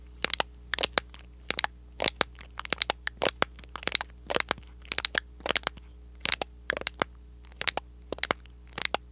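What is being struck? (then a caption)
Thin cardboard box. A small, hollow, red and white printed thin cardboard box is crinkled and scratched with fingertips and short nails close to the microphone. Quick clusters of sharp, dry, bright crackles and crunches snap out and stop almost instantly. A faint steady low hum runs underneath throughout.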